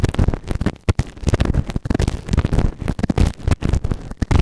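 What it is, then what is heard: Silicone ear microphone. A white plastic ear tool held in fingertips scrapes inside the ear canal of a grey, soft but solid silicone ear-shaped microphone on a round base. Dense, rapid scratching and crackling fills the clip, heavy in deep low-end thumps with little brightness, and each scrape dies away almost instantly.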